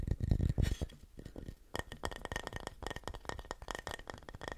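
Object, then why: Flat wooden plaque. A painted red wooden Christmas sign, a flat solid house-shaped plaque with Christmas text and a heart cutout, is held upright and tapped and scratched with fingertips and nails. Dull, low thumps open the clip, then a quieter scratchy stretch, followed by a quick, uneven run of short, dry taps with a faint steady tone above them.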